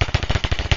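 An old, blown ELO speaker's paper cone is tapped repeatedly, giving quick, low, thumping taps with a rattling, crackling buzz on each. The rattle shows the speaker is faulty; a healthy speaker shouldn't sound like that.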